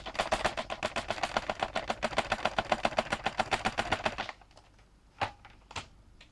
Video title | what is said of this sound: Cherry G80-1000 review (vintage Cherry MX black) | it feels Hollow and rattly